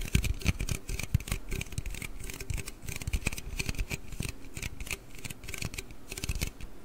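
Fingernails scratch and tap along the body of a large, hollow aluminium Red Bull can held close to the mic. Rapid, crackly scraping mixes with quick, dry taps that each add a short low thump, and a bright, hissy edge rides over the top throughout. The taps die away almost instantly with no ringing.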